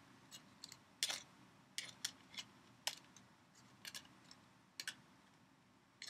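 A small red and gold foil-wrapped sweet is held in both hands while the foil is crinkled and scratched with fingertips and long painted nails. Thirteen quiet, sharp, bright crackles and ticks come in irregular bursts over a faint steady hiss, each dying away almost at once.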